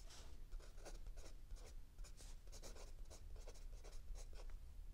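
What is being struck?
Pencil tip on a paper notebook.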